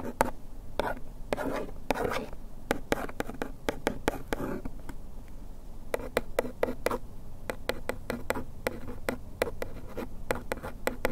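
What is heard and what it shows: A bamboo ear pick traces and scratches the lower printed text on the front of a small printed paperboard bandage box held in hand. It makes a steady series of short, dry scratching strokes, each a brief bright burst over a soft low rumble. Early on some strokes are longer drawn rubs, and later they become quick, crisp ticks.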